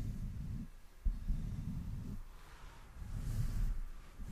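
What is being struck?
Nothing is struck.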